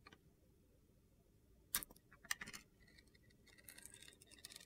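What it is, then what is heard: Glitter-coated bar soap being carved. A utility knife blade carves slices off the edge of a small, hand-held solid bar of soap with a blue-green glitter coating, exposing white soap underneath. Sharp, bright, crisp cutting snaps stand out against near silence, followed by a softer, gritty crackling scrape as the slices come away.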